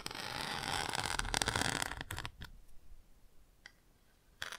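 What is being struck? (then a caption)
Textured cardboard book page scratched with a bamboo pick. A bamboo ear pick scratches back and forth over the textured chick on the open page of a cardboard board book, making a dense, bright rasping for about two seconds. A few separate light taps on the chick follow, with quiet gaps between them.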